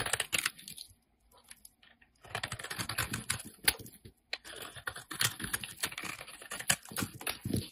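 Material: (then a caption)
Soap. A utility knife blade scrapes the flat face of a solid peach-orange bar of soap held in hand, leaving scrape marks. The result is a dense run of crisp, bright scratchy strokes that briefly thin out into near silence before resuming steadily to the end.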